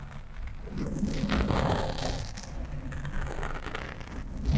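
Long nails on both hands rapidly scratch a black foam windscreen on a microphone. The result is a continuous low, rumbling, crackling rustle with faint brighter scratchy texture, swelling and easing in waves before rising louder at the end.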